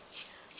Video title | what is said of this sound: मार्केटसारखा कुरकुरीत फरसाण - स्वस्तात मस्त, घरच्या घरी परफेक्ट दालमोठ चिवडा Dalmoth Chivda Recipe | याच्यातलं moisture पूर्ण निघून गेलेलं आहे हे बघा असा छान खुळखुळ आवाज येतोय